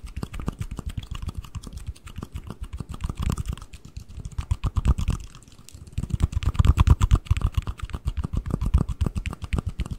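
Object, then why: Small cardboard ring box, lid and base. A small, empty white cardboard ring box, opened into its hollow lid and base with one part held in each hand, is tapped rapidly with fingertips and nails. The result is a fast, continuous patter of short, dry, low-pitched hollow taps with almost no ring. The tapping briefly softens near the middle, then returns louder and denser.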